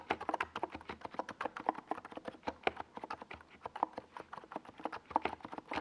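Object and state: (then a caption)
Plastic mechanical keyboard. Fingertips type continuously on a small 68-key NiZ Plum Atom 68 mechanical keyboard with a white plastic case and purple and yellow plastic Domikey Gas Attack SA keycaps, resting on a desk pad. A steady stream of about 39 short, dry plastic clacks centers in the low midrange, with occasional louder keystrokes standing out.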